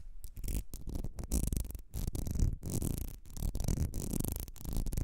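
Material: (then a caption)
Glass. Long red nails scratch and tap a small ribbed glass perfume bottle with a gold cap. The result is a steady run of rough, ridged scraping broken by short pauses and quick, dry taps. The sound is heavy in low rumble and has almost no ring after each touch.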